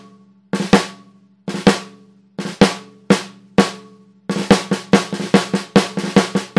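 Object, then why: Copper-shell snare drum struck with sticks. A Tama 14x5 in copper snare drum, with a hollow metal shell and a coated plastic head, is struck with wooden drumsticks. A few spaced flam-like double strokes and single hits are followed by a quicker run of rolling strokes. Each hit is a short, crisp crack with bright snare buzz over a steady tone near 200 Hz.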